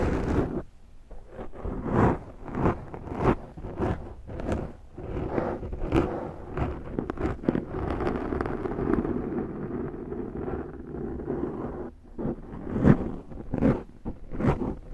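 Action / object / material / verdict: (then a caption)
scrape / foam microphone windscreen / foam / none. Long fingernails on one hand scratch across the top of a large black foam windscreen on a Zoom microphone. The result is a close, muffled scratching with a deep, low-heavy rumble, coming in repeated slow strokes and bursts with little high-end content.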